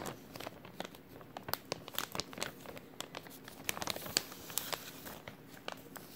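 An empty, thin clear plastic bag with a white label is crumpled with the fingers of both hands. It gives off a steady run of sharp, bright crinkles and crackles that stop dead with no ring, over a soft hiss and very little low end.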